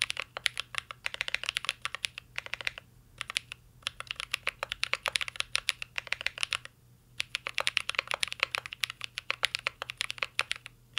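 Fingertips of both hands type on a full-size CYBERBOARD R3 mechanical keyboard with an aluminum case, plastic keycaps and Holy Panda switches. Dozens of quick, bright, dry key taps come in rapid bursts, with short pauses near 3 and 7 seconds. A faint steady low hum sits underneath the typing.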